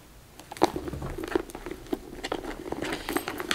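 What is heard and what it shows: A medium pink structured leather satchel with a gold MK logo, hollow and apparently empty, is opened and then tapped and scratched on its top edge and front by long red nails. The result is a run of quiet, dry, hollow taps around 340 Hz that stop almost instantly, mixed with soft scratching patter and possibly a faint jangle of bracelets.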